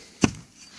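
A spud or axe strikes lake ice once over a suspected beaver run, giving a single short, dull thud centred around 250 Hz that dies away almost at once. The spot is called hollow: bubbles left by beavers freeze into the ice and make hollow spots that sound different from solid ice, though no cut confirms it.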